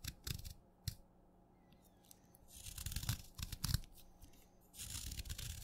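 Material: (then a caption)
Chalk. A craft knife shaves stacked flakes off the end of a solid wet purple chalk stick held in the fingers. Short, bright scraping bursts are followed by a quiet pause. Then come denser, rasping shaves with a low, soft crunch, ending in a steady scrape.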